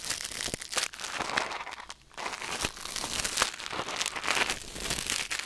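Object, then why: Silicone ear microphone scraped by metal tweezers. Metal tweezers held in the fingers scrape and pick inside the ear canal of a white silicone ear mounted on a black binaural microphone. Dense, bright crinkling and scratching rustles run continuously, with a brief quieter dip around the two-second mark before the scraping resumes.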